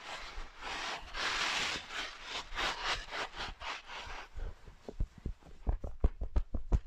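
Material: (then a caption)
Faux fur. Fingertips and nails rub and scratch the long grey-white faux fur of a medium soft plush sloth toy. It opens with a run of soft, airy, bright swishing strokes, then shifts to quieter, sharper scratchy ticks with a low thump beneath each one.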